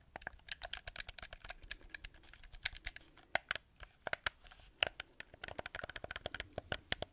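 Fingertips and nails tap and scratch the surface and buttons of a black hollow plastic gamepad held close to the mic. Quick, dry, bright clicks come in irregular bursts over a faint scratchy hiss, each tap dying away almost instantly. The result is a quiet, close-up patter of clicks much like typing.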